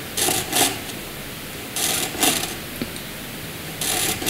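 A hand-held black wooden graphite pencil draws short vertical strokes on white paper, its tip scratching the surface. Each stroke is a brief, bright, papery scratch, falling in loose clusters separated by quiet pauses.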